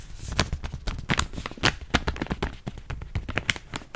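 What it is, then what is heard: Plastic foil snack bag. Fingers scratch and crinkle a yellow, hand-sized plastic foil chips bag that is partly full. The result is a dense run of sharp, dry crackles with bright, high crinkling over soft low rustle. Each snap dies away almost instantly.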